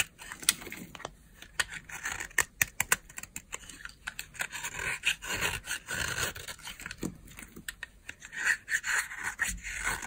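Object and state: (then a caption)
Dry bar soap being scraped. A utility knife blade scrapes thin flakes off a solid, partly carved pink oval bar of dry soap held in the palm. The result is a rapid series of crisp, dry crunches and scratchy scrapes, mostly bright in tone with little low end.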